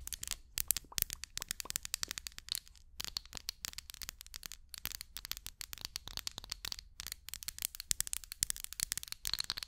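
Long acrylic nails tap and scratch the surface of a small, hollow amber glass candle jar held by hand close to the mic. The result is a rapid, continuous stream of sharp, bright clicks and crackly scratches with almost no ring and very little low end.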